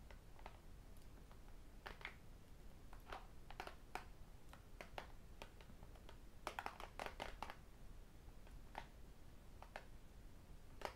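A thin, flat tablet with a glass screen, aluminium back and metal frame is held and tapped on the screen and edge with fingertips and metal rings. The result is a steady run of quiet, sharp clicks and bright ticks at an irregular pace, with a denser cluster of taps partway through, over a low background rumble.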